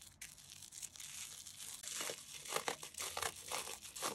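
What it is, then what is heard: Damp cellulose sponge. A rectangular yellow cellulose kitchen sponge, porous, soft and damp and smeared with white toothpaste foam, is held over a yellow bowl and scratched and rubbed with the foam-covered fingertips of both hands. Quiet, bright, wet crackling and tearing-like crinkles come in irregular bursts that grow denser and louder toward the end, with almost no low end.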